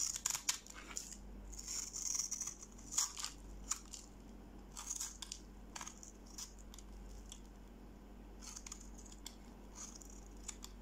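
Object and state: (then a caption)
Bar of soap being cut. A metal knife blade cuts and scrapes thin grid-cut strips and cubes from the surface of a solid, hand-sized yellow-orange bar of dry soap held in one hand. Crisp, bright scraping and crackling bursts with sharp clicks come most densely in the first few seconds, then thin into softer, scattered scrapes over a faint steady low hum.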